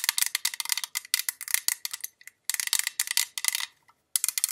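Long pink acrylic nails tap rapidly on the printed side of a hollow, tall cylindrical pale-green metal perfume tin with a gold rim, about 15 cm tall, Jean Paul Gaultier La Belle packaging, held in both hands. Bursts of bright, clicky metallic taps, almost all energy above 1 kHz, are separated by short pauses; each tap dies away almost instantly with no lingering ring.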